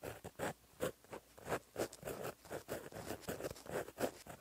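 The tip of a gold gel pen, held in the fingertips, writes Korean cursive on a flat, solid black lined paper notebook page. About ten short, dry scratching strokes come through quietly, each centered in the midrange around 500 Hz with little low end. Each stroke stops with almost no ring.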